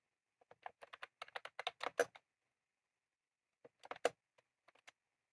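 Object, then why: Plastic mechanical keyboard with round keycaps. Both hands type rapidly with their fingertips on a full-size retro-style plastic mechanical keyboard with round cream plastic keycaps and a plastic case, resting on a desk. A dense burst of short, crisp clicks lasts about two seconds and is followed by a pause. A second shorter flurry of clicks and a few scattered taps come after it.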